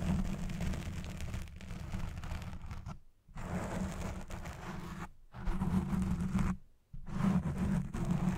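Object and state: Foam microphone windscreen being scratched.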